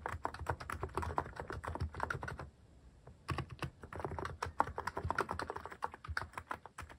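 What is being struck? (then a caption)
Mechanical keyboard with plastic keycaps. Fast fingertip typing on a mechanical keyboard with plastic cat-shaped keycaps produces a rapid stream of short, dry, clacky keystrokes with a mid-pitched click. The typing runs in quick bursts, pauses briefly near the middle, then resumes just as fast to the end.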